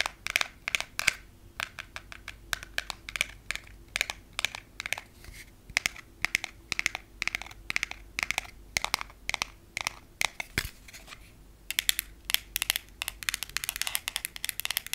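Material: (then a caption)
Glass. Natural fingernails tap and scratch along a long, flat, solid frosted glass nail file held in the hands. Rapid, bright, dry clicks with almost no ring or low end follow one another steadily, with a few soft scratches in between. The taps grow denser toward the end.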